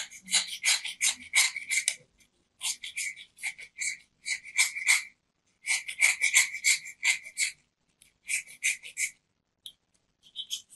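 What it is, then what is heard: Soap bar scraped with a knife. A metal craft knife scrapes the face and rim of a small, round, solid white soap disc held in the hand. The sound is quick, dry, rasping strokes in bursts separated by short pauses, bright and crisp with a strong band around 2.3 kHz and almost no low end. Each stroke stops abruptly with no ring.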